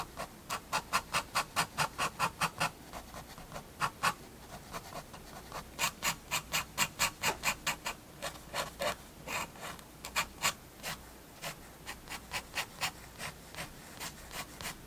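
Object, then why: Fineliner pen on a paper sketchbook page. A fine pigment fineliner pen draws hatching lines on a page of a large spiral-bound paper sketchbook resting on a wooden table. Quick, short, bright scratchy strokes come in uneven bursts at roughly two per second, each dying away almost at once, over a quiet background.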